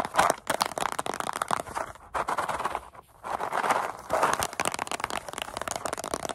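A small, hollow paperboard Goldfish cracker carton, likely partly full and with its top flap opened, is tapped and scratched with long acrylic nails and squeezed in the hands. It gives a rapid, dry stream of papery taps, scratches and crinkles centered around 1 kHz with bright edges. Two brief lulls break the sound near two and three seconds.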